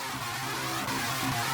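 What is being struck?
Nothing is struck.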